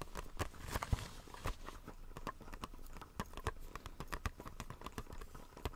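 A small, hollow retail blister pack, a clear plastic shell on a white printed card, is held upright in the hands and tapped with fingertips and nails. Quick, irregular taps give short, dry, hollow clicks with a bright plastic tick on top and a soft low thump underneath. Each tap dies away almost at once.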